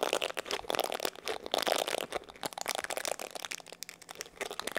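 Fingertips scratch and rub the bristles and body of a black plastic paddle hair brush with an oval hollow back. The result is a dense, continuous crackle of quick, dry ticks and rasps that is bright and thin, with no low end, swelling and fading in uneven bursts.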